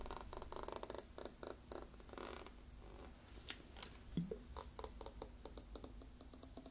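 Fingertips and nails tap a brown plastic (PET) drink bottle with a green cap and yellow label, held in both hands and partly filled with liquid, striking both the bottle and the cap. A rapid run of soft, hollow taps with a low, rumbling body comes first, then scattered sharper clicks as the bottle is tilted and the liquid sloshes inside.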